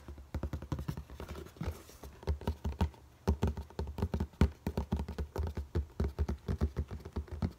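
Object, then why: Cardboard shoebox. A medium-size, hollow black Jordan cardboard shoebox with a red Jumpman logo is held up and tapped rapidly with fingertips and nails on its lid and sides. Dozens of quick, dry, low hollow thuds come in an uneven drumming rhythm, each dying away almost at once, with a brief lull around the three-second mark.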